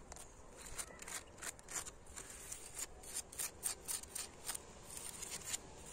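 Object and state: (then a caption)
Old brick wall, solid. Fingertips and nails scratch along the cracked, crumbling mortar gaps of a weathered, solid red brick wall and tap on the bricks. Quiet, bright, gritty scratches and short dry taps come in a steady series of bursts over a faint low background rumble.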